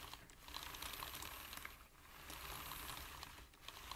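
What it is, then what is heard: Plastic computer keyboard being typed on. A full-size black plastic computer keyboard is typed on with the fingertips of both hands. The result is a steady, quiet stream of light, bright plastic key taps over a low background rumble.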